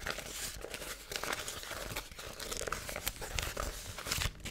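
A thin yellow-gold foil paper sheet, held in both hands, is crinkled, stretched and crumpled with fingers and long nails. The result is a steady, bright crackling and rustling with sharp snaps scattered throughout and a soft low rumble underneath.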